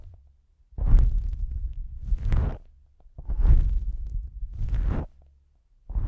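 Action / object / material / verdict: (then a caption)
scrape / foam microphone windscreen / foam / none. A fingertip with a long pink nail rubs and presses a pair of small, soft, porous black foam windscreens on a stereo microphone. The result is deep, muffled rumbling and whooshing that swells in long waves, with brief brighter scratchy edges at each peak, separated by near silence.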